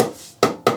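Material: Wood.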